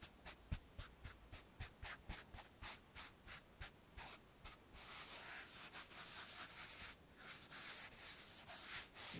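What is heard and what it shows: A hand presses a blue felt eraser onto a flat, dark, roughly A3 chalkboard in a wooden frame and rubs it back and forth, making sixteen quick, separate, bright, hissy strokes. The rubbing then turns into a denser, continuous scrubbing with a soft, dry felt-on-slate texture and very little low-end thump.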